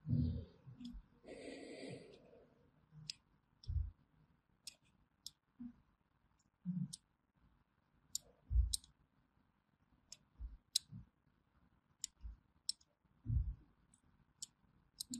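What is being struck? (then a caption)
Bar of hand soap cut with a small metal blade. A small thin metal blade cuts along the edge of a solid orange bar of hand soap held in the hand, scratching and carving grooves. About 13 separate soft, low cutting thuds are heard, with sharp bright clicks and a brief rustling scrape near the start. The cuts come at an uneven pace against quiet background hiss.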